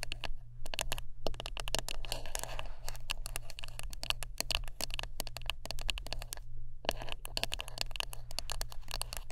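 Fingertips tap and scratch quickly across a wooden brush up close, making a dense run of sharp, dry clicks with bright crackly edges. There are brief pauses near the start and about two-thirds of the way through, and a steady low hum sits underneath throughout.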